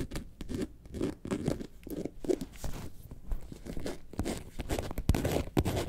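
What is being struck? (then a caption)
Faux leather carton-shaped bag. Long nails scratch the textured surface of a hollow, yellow faux leather bag shaped like a lemonade carton, which is laid on its side partway through. The result is a steady run of dull, low, scratchy rasps and crinkly bursts with little brightness. Each stroke stops quickly with almost no ring.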